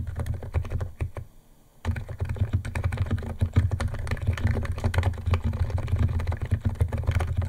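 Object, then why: Plastic keyboard keys and case. Fingertips of both hands type fast on a white compact 68-key Niz ATOM 68 keyboard with electro-capacitive switches, white plastic keycaps and a plastic case, resting on a wooden desk. A dense stream of short, deep, muted keystroke thocks is heard with a low steady hum beneath. The typing pauses briefly just before the two-second mark, then resumes at a steady, rapid pace.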